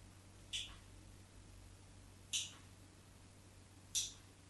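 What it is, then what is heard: Bar of soap scratched with a knife tip. A craft knife tip scratches cross-hatch lines into the face of a solid white bar of soap held in the hand. Three short, bright scrapes sound over a quiet background hum, each fading quickly.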